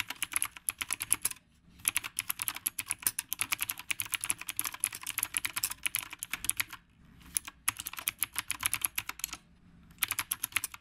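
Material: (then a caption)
Plastic. Fingertips of both hands type on a retro typewriter-style mechanical keyboard with round plastic keycaps. Bursts of rapid, bright, crisp clicks are broken by short pauses, and each keystroke is sharp and dies away almost instantly with very little low end.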